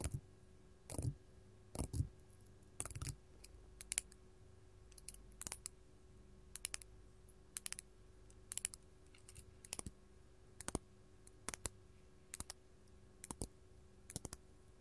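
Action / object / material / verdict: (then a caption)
tap / faceted glass crystal gem / glass / none. Long gold metal filigree claw nails tap a large, solid, faceted purple glass crystal, making quiet, sharp, bright clicks that come in irregular single taps and quick clusters. Each tap dies away almost instantly over a faint, steady low hum.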